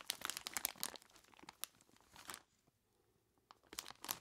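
Both bare hands squeeze and rub a large clear plastic bag full of ice cubes, making bright, crunchy crinkles. Dense crackling runs for about two and a half seconds, falls nearly silent for a second, then picks up again with a few sharp crunches at the end.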